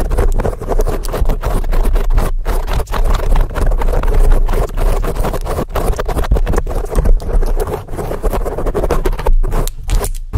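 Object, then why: Foam microphone windscreen. The tips of very long acrylic nails from both hands rapidly scratch a large black foam windscreen on a microphone. The result is a loud, dense, continuous rough scratching and rustling, heavy in low rumble, with only brief, short dips between bursts of fast strokes.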